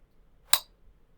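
A small metal jello mold is tapped once, giving a single bright, sharp clink that rings briefly and fades within a fraction of a second against a quiet background.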